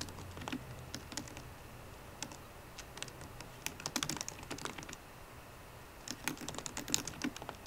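Fingertips and painted nails of both hands tap the black plastic keys of a solid 13-inch silver aluminium MacBook Pro. Quick, light, bright clicks come in uneven bursts, with brief pauses between runs of typing, and each tap dies away almost instantly over a faint low hum.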